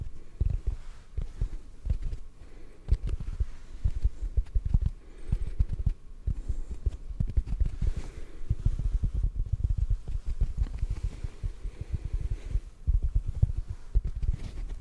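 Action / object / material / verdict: tap / rectangular foam sponge / foam / none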